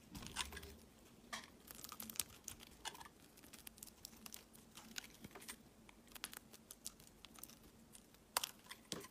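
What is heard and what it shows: A utility knife blade shaves long curls off a solid, palm-sized, oval translucent green glycerin soap bar. Quiet, crisp crinkling and scraping strokes come in short bright bursts with sharp clicks, over a faint steady low hum.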